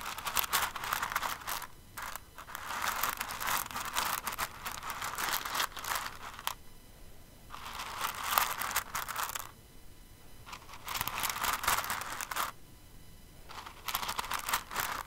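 Fingers with long nails dig into and stir a pile of plastic rhinestones in an open clear container. Dense, bright clicking and crinkling rattles come in bursts, separated by short quieter pauses.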